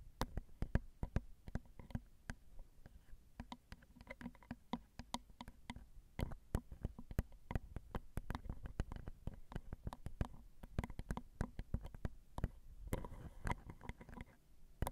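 Long acrylic nails tap on the two crossed metal X/Y microphone capsules of a Zoom recorder. A quiet, steady stream of short, dry clicks and taps is heard, with soft, low thumps and very little ring after each hit. The patter speeds up in bursts near the end.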